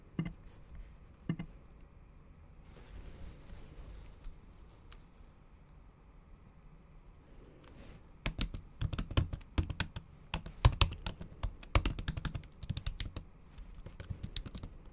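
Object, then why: Laptop keyboard with plastic keys under a silicone cover. Long acrylic nail tips type on a MacBook Pro keyboard whose plastic keys sit under a thin pink patterned silicone cover in an aluminium body. A few scattered clicks and a soft, hissy stretch give way, from about eight seconds, to a denser run of quick, dull, low-heavy taps with brief bright edges.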